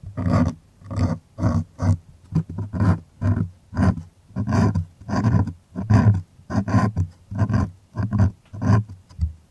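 Fingertips and nails scratch the taut surface of a white stretched cotton art canvas on a hollow wooden frame, held close to the mic. Each stroke comes as a short, rasping burst that booms low and deep from the hollow frame, with a bright scratchy edge, in a steady back-and-forth rhythm with brief quiet gaps between strokes.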